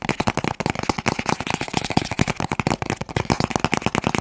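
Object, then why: Cardboard box. A long, hollow, blue and white cardboard box is held in both hands and tapped quickly with the fingertips close to the mic. The result is a rapid, continuous stream of short, dry, hollow taps with a low thumpy body and a light papery crackle, each dying away almost instantly.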